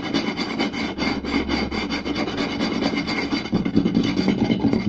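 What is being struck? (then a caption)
Round wooden plate. Fingertips and short nails quickly scratch, rub and tap the surface of a round, solid wooden plate. The result is a fast, continuous rasping scratch with dense, irregular taps mixed through it.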